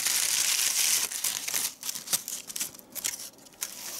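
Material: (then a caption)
Crepe paper. Fingertips fold, crumple and shape the folds of a small handmade doll made of white crepe paper, tied at the neck, light and hollow. The result is a dense, bright, dry crinkling for the first second, then sparser sharp crackles and rustles with almost no low end.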